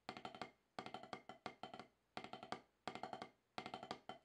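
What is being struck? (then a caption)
Rubber practice pad struck with wooden drumsticks. Wooden drumsticks tap on a solid, octagonal HQ snare practice pad with a dark rubber surface. Short bursts of quick, dry taps come in repeated groups with pauses between them, each hit sharp with almost no ring and a woody tone around 750 Hz.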